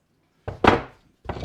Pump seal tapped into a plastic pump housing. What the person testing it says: You don't have to bang hard, so it sounds solid to me.